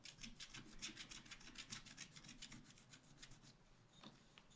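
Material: Coated paper.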